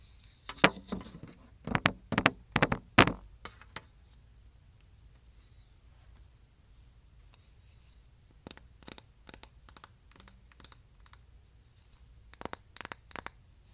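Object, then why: Wooden canister lid. Long nails tap and scratch the flat face and edges of a light, solid wooden hexagonal lid with a raised round plug on one side, held in the hands; the lid is the top of a ceramic canister. Dense bursts of sharp, dry taps and scrapes fill the first four seconds. After a quiet gap, sparser, softer clicks and scratches return from about 8.5 seconds to the end.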